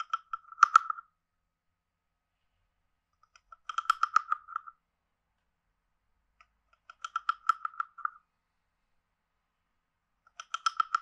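A hand-sized hollow carved wooden frog guiro is played with a wooden stick, tapped and scraped along its ridges. The result is four short bursts of dry, rapid croaking clicks, each around a second long and separated by silence. The clicks have a hollow, woody tone centered near 1.3 kHz, with faint bright edges and almost no ring.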